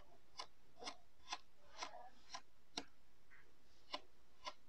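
A thin blue plastic stick pokes rows of holes into a flat, solid disc of pink-purple kinetic sand pressed into a round lid on a white table. Eight soft, crisp ticks sound at a steady pace, each a short bright click over a quiet low background hiss.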